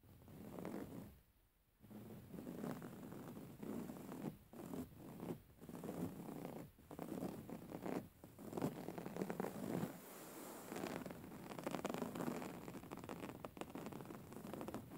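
Fingernails scratch the woven cover of a soft, filled grey woven-fabric pillow, making a steady, scratchy rustle weighted toward the low and middle range. The strokes come in bursts separated by short quiet gaps, with a longer pause near the start, then run almost continuously toward the end.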